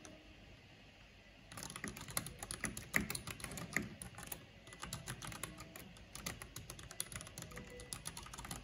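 A full-size black plastic mechanical computer keyboard with a purple backlight and hollow housing is typed on rapidly with long painted fingernails and fingertips. After about a second and a half of near silence, quick, uneven clicks and clacks begin, with short, dry hits that have a bright edge and a hollow low thump.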